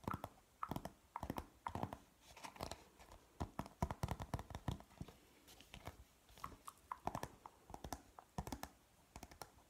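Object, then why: Printed cardboard chart. A thin, flat printed cardboard periodic table chart is held in the hands and tapped and scratched quickly with fingernails on its front and back. Dense bursts of short, dry clicks mix with soft scraping. The taps run in irregular rapid clusters with brief pauses between them.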